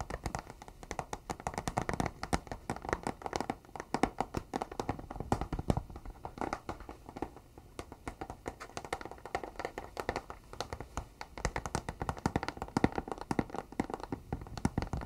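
A flat, rectangular white cardboard box, hollow and closed, is held up close and tapped rapidly with fingertips and nails. The result is a dense, continuous patter of short, dry taps with a soft hollow thump underneath and bright clicks from the nails. There are brief lulls, then the tapping picks back up.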